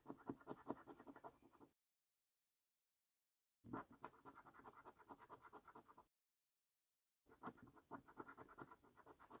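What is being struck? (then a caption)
Paper scratch card with latex coating scraped by a coin. A coin scratches the latex coating off the symbols of a flat, thin cardboard £15 National Lottery Luxury Lines paper scratch card held by fingertips. Three bursts of quick, dry, rasping strokes are separated by silent pauses, each stroke a short, papery scrape that stops without ringing.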